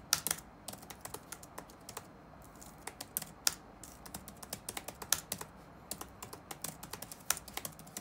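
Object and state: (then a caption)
Plastic laptop keyboard. Fingertips of both hands rapidly tap the keys of a dark plastic chiclet laptop keyboard resting on a wooden desk. A quick, uneven stream of short, bright, clicky taps fills the clip, each dying away almost instantly, with very little low end and a faint background hiss.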